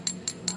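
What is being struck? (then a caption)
Ceramic mug of cold water. Three light taps on the bottom of a ceramic mug filled with cold, bubble-free water, before any Alka-Seltzer is added. Each tap gives a short, bright, high-pitched ring, which serves as the baseline tapping note for plain water.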